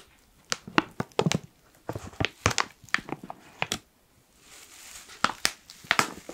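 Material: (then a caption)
Plastic foil. Fingertips rub and crinkle the top seal area of a black foil-lined plastic coffee pouch held close to the microphone. Sharp, bright crackles come in quick irregular bursts, broken by a brief silence and a soft rising hiss before more snappy crinkles. The crackles stop almost instantly, with no ring.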